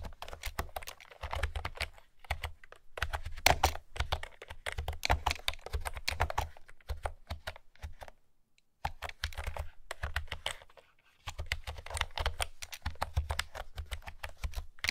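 Long fingernails type quickly on a pastel plastic retro keyboard with round keys, producing a steady patter of light, hollow clicks with a bright top end. The typing continues in bursts across the clip, with brief pauses near 2, 8.5 and 11 seconds.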